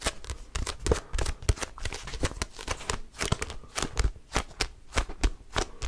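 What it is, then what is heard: Paperback book. A small red-orange paperback book is held close to a microphone while fingertips grip, bend and flick its pages and cover. The result is a rapid, uneven series of crisp papery flicks and riffling bursts, with soft low thumps from the handling beneath the bright paper rustle.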